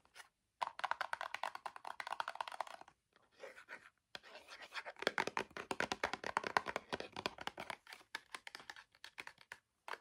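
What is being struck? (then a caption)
Small cardboard box. Fingertips and nails rapidly tap and scratch the front and sides of a small gold printed cardboard box for BB face cream held upright. The sound is a dense stream of dry, short clicks and rasping scrapes centered in the mids, with brief pauses near the three- and four-second marks. There is almost no low end, and every contact dies away instantly.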